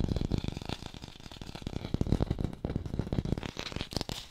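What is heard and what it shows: An artificial red plastic apple is fast-tapped and recorded with a hi-fi microphone. The result is a rapid, continuous run of dull, low-heavy taps that die away almost instantly, with faint bright clicks and light rattling between them.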